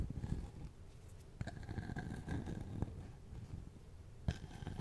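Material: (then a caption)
Wood, bark. Fingernails scratch over the rough bark of a hand-sized, solid-looking cylindrical slice of tree log held in one hand near a fluffy microphone. The result is a soft, low, rumbling scratchy rustle, broken by a few sharper clicks as the nails catch on the bark.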